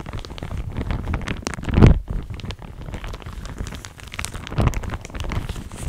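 A pink printed, thin, soft and crinkly plastic shower cap is held near the microphone and crinkled and rubbed with fingers and long nails. The result is a steady, dense crinkling and rustling, heavy in low rumble, with two louder bursts partway through.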